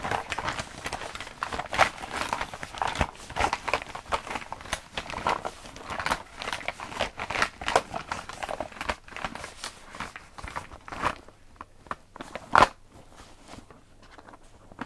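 A filled, pink printed coated-fabric cosmetic pouch is rubbed, squeezed and crinkled by hand. The result is a dense stream of crinkling, rustling and small crackles centred in the midrange. It quietens after about 11 seconds, broken by a sharp crackle near 12.6 seconds.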